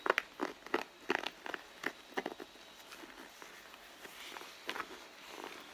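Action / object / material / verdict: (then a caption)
tap / leather handbag panel / leather / none. Long blue nails tap and scratch the side panel of a red pebbled-leather handbag that sounds hollow and soft. About a dozen quick, dry taps come first, each a short midrange knock with a bright clicky edge and no ring. They give way to quieter, softer scratching and rubbing on the leather.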